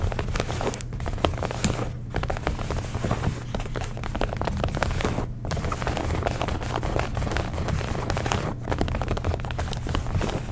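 Long nails scratch rapidly along the stitched waistband seam, belt loop and fabric of light blue denim jeans. The result is a dense, continuous crackling scrape over a steady low hum, with brief pauses around 2, 5.3 and 8.6 seconds.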